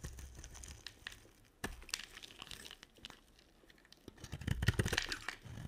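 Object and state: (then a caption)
Dry soap bar being shaved. A solid, red-coated white bar of dry soap, held in the hand, is shaved with a box cutter blade. Dry, crinkly scraping and crunchy cracks come in quick, uneven strokes with a bright edge, building to a denser, louder run of crunches near the end.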